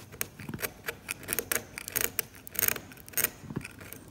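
A metal scalpel blade scrapes paint away from the grey ground of a glossy, cracked, varnished oil painting on canvas. Irregular short scrapes and scratchy clicks, bright and crisp with little low end, stop almost instantly with no ring.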